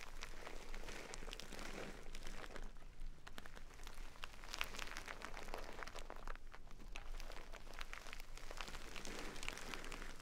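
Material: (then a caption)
Jute, rice. A small, full jute burlap bag of rice is scratched with long nails and squeezed, the grains shifting inside. Close, steady scratchy crinkling and gritty crunching continue for the whole clip, with dense rustle across the mids and bright crackles on top. The sound is soft and dry with no ring after each scrape.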